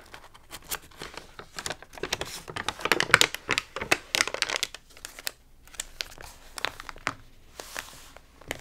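A hand turns a page of an open paper magazine with rippled, water-damaged pages, then fingertips and palms rub across the crinkly paper. Dense, bright crinkling and crackling bursts come in quick succession, loudest and busiest in the middle of the clip, then thinning into softer, scattered rustles.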